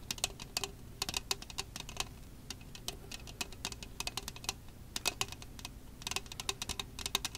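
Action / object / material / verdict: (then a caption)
tap / thin plastic disposable cup / plastic / none. An empty, hollow red plastic disposable party cup (Solo-style, about 12 cm tall) is held in both hands close to the mic and tapped and scratched with long acrylic nails along its ridged sides. Quick, crisp, bright clicking taps come in irregular bursts, mixed with short scratchy strokes. Each tap dies almost instantly over a faint low background rumble.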